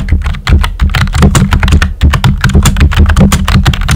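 Fingertips with short nails type quickly on a full-size pink plastic computer keyboard with a hollow body and round white typewriter-style plastic keycaps. The result is a steady stream of short, clacky taps that die away almost instantly, carried by a strong low, hollow thump under a light bright click.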